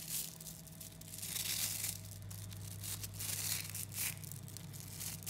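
A large clump of about 11,000 small 3 mm neodymium magnetic balls is squeezed and folded with the fingertips of both hands. The solid metal spheres click against each other in a dense, bright, crackling rustle that swells in irregular bursts over a steady low hum.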